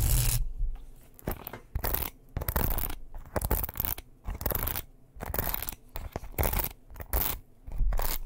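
A small wooden paddle hairbrush with bristles is held close to the microphone while fingernails quickly scratch and tap its wooden back and bristles. Fast bursts of crisp, brushy scratching alternate with short pauses, carried by a low, thumpy body.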